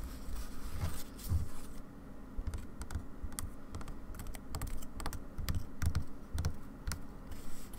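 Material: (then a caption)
Wood, fabric. Long dark nails tap on white fabric stretched in a wooden embroidery hoop resting on a table, and on the hoop's wooden rim. The taps land as soft, low, dull thumps mixed with brief bright clicks, each dying away almost at once, in an uneven, quick rhythm like typing.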